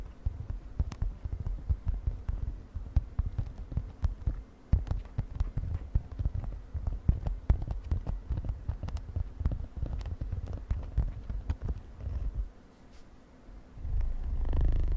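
Long nails tap and scratch a mint-green glittery synthetic fabric makeup pouch with a metal zipper, making a dense run of quick, soft, dull taps with short scratchy strokes that sit almost entirely in the low end. The tapping quiets briefly near the end, then gives way to a louder, steady low rumbling rub.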